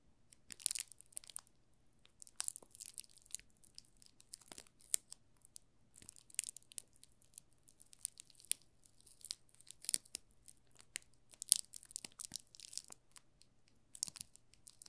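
A solid yellow soap bar in a thin plastic film wrap is held in both hands while the fingertips and short nails rub and crinkle the film. Quiet, bright crinkling and crackling comes in irregular bursts with short pauses between them. A faint steady low hum sits underneath throughout.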